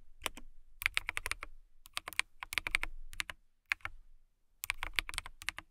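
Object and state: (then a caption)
Acrylic mechanical keyboard. Long nails type and tap on a transparent acrylic mechanical keyboard with clear plastic keycaps and case. Bright, crisp clicks come in quick bursts separated by short pauses, each one dying out almost instantly.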